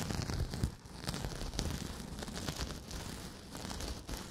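A pink, porous synthetic kitchen sponge is bent and squeezed by the fingertips of both hands close to the microphone. It gives a steady, crinkly scrunching of dense crackles and rustles with soft low thumps under them. The sound stays fairly even throughout, with brief louder squeezes.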